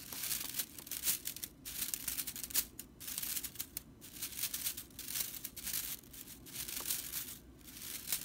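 Fingers with long nails scratch and pluck the flat, dry straw bristles of a whisk broom. The result is a dry, crinkly rattle of bright, crackling bursts that swell and fade in quick clusters, with almost no low end.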